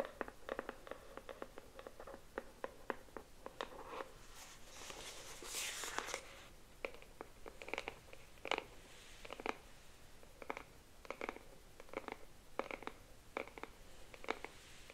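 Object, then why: Cardboard box. Long nails tap and scratch along the front of a pink cardboard box holding a paddle hairbrush, with the box held in both hands. A steady series of short, dry, hollow taps with a papery midrange knock repeats throughout. Around the middle, a brighter, rougher scratching swell rises before the taps resume.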